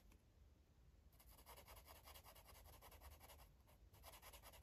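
A green felt-tip marker rubs and scribbles across a paper coloring book page. After about a second of quiet, a run of fast, uneven, bright scratchy strokes starts and keeps going to the end, over a faint low hum.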